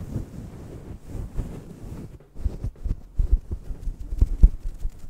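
A fist-sized, fluffy grey-black faux fur microphone windscreen is scratched and rubbed with the fingertips and nails of both hands. The result is a muffled, boomy rumble sitting almost entirely in the low end, with no high content. After a brief near-silent gap, it breaks into sharper thumping bursts.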